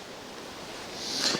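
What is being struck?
Nothing is struck.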